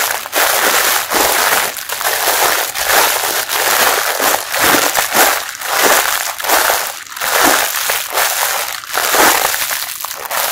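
A pink mesh bath sponge sealed in clear plastic with a blue brand label is squeezed and scratched by fingertips, crinkling the wrapper. Steady, dense crackling and rustling fills the clip with bright, hissy texture and almost no low end. The wrapper noise swells and dips in repeated bursts as it is pressed.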